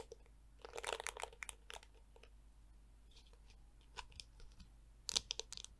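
A handheld black plastic detangling brush with flexible yellow plastic teeth is handled as long nails scratch and flick the teeth and tap the hollow plastic back. The result is soft, bright, crisp crunching and clicking in irregular bursts, with a cluster near the start and another sharp flurry near the end over a quiet background.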